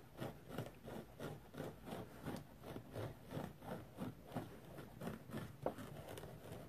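A rectangular, dry yellow foam sponge with fine pores is scratched with the fingernails of both hands. Soft, rapid scratching strokes come in a steady, slightly uneven rhythm of about three per second. Each stroke is a quiet, muffled, low-to-mid rasp that dies away almost instantly, with a slightly sharper scratch near the end.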